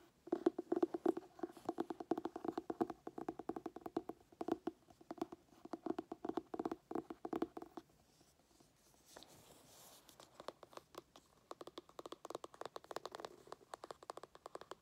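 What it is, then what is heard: Hardcover cookbook tapped and scratched. Fingernails tap and scratch the embossed, glossy printed cover of a solid, medium-sized hardcover paper cookbook held upright. Dense, rapid, dry taps with a mid-pitched papery knock continue for about eight seconds, followed by a brief lull and a soft scratching hiss. Quieter, quick tapping then resumes until the end.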